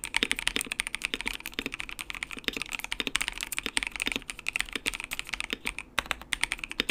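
Fingertips type steadily on a compact white mechanical keyboard with RGB backlight and plastic keycaps. The result is a fast, continuous run of sharp, bright clacks centered around 2.2 kHz, each one dying away almost instantly with very little low end.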